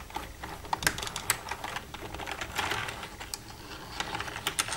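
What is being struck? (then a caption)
Plastic computer keyboard. Long red-painted nails tap and type across the keys of a black plastic desktop computer keyboard with a hollow casing, using both hands. The result is a quick, irregular stream of light, bright plastic clicks and clacks, with a few sharper taps standing out over a soft clatter.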